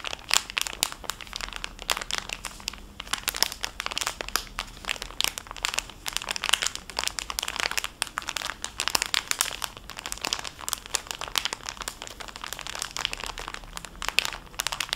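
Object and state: Crinkled cellophane bag holding fabric wipes.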